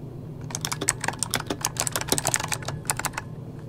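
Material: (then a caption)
Plastic. Rapid key taps made with the fingertips of both hands on a full-size backlit mechanical computer keyboard with plastic keycaps. Each press gives a short, sharp, bright click that dies away almost at once, over a faint steady low hum.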